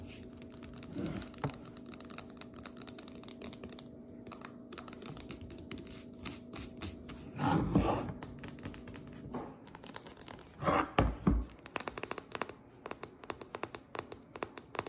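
Long nails rapidly tap and scratch the metal end and the paper-labeled cardboard side of a full biscuit dough can held in the hands. Light, dry clicks run steadily over a faint low hum, broken by a few louder, rougher scratching bursts midway and near the end.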